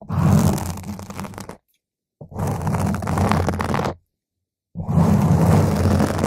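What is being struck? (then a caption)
Foam microphone windscreen. A round purple foam microphone windscreen is scratched by a single nail, then a whole hand of long nails scratches and rubs across its top. Three bursts of dense, crackling scratching with a heavy low rumble are separated by short silences.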